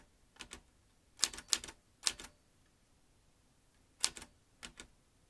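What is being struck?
Metal manual typewriter.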